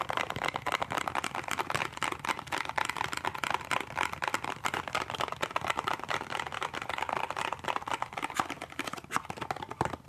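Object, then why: Small cardboard box. A small, hollow cardboard toothpaste box is held upright and tapped quickly on its end flap and side with the fingertips and nails of both hands. The result is a dense, continuous patter of short, dry clicks and taps, centered in the mid range with a light bright edge and almost no low end.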